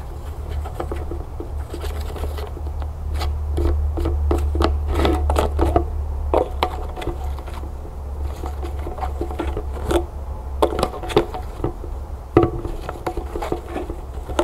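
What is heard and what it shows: A plastic lotion bottle with a silver-coloured cap stands on a table while one hand holds it and a single long fingernail taps the top of the cap. Quick, irregular, light clicking taps with a hollow mid-pitched ring come at a fast pace. A steady low rumble sits underneath.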